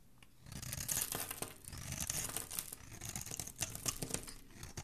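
A flat metal blade scrapes and shaves the surface of a solid, hand-sized, light blue bar of soap held in one hand, curling off flakes. The result is a continuous run of crisp, bright, tearing scrapes with quick rasping strokes over a soft low rustle, all at a quiet level.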